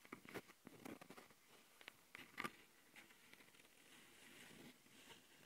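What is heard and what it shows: Long glitter nails scratch the top and metal-mesh mic capsules of a small plastic Tascam handheld audio recorder, held in one hand. Quiet, irregular taps and dry scrapes with a bright edge cut in and out, with a soft, steady rasp between them.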